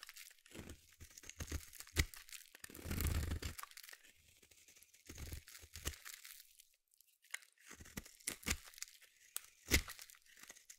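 A small metal blade carves and scrapes shavings off the edge of a palm-sized solid yellow bar of soap. Crisp, crunchy scraping strokes come in short bursts, with a longer rasping scrape around the third second and a near-silent pause before more cuts. Each stroke carries a dull low thud under a bright, crackling edge, with a few sharp snaps standing out.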